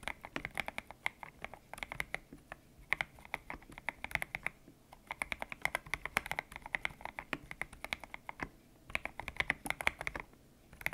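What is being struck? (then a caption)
Mechanical keyboard with PBT plastic keycaps. Fingertips type on a white-cased mechanical keyboard with grey and pink PBT plastic keycaps, its hollow case resting on a desk mat. Bursts of quick, crisp keystrokes come in runs separated by brief pauses, each click bright and short with almost no ring, centered around 2.2 kHz and carrying little low end.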